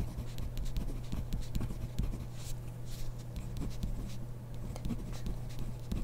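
A ballpoint pen writes on the grid paper of a spiral notebook while the other hand rests on the page. The pen tip makes a continuous run of soft, bright scratches and short strokes over a steady low hum.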